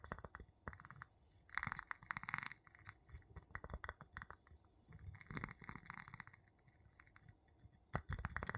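A wooden pestle tip taps and rubs the bottom of an empty clear glass jar with a gold metal lid held in the palm. Quiet, irregular clinks and rapid scraping bursts carry a low, dull thump beneath brighter glassy ticks. Each sound dies away almost at once.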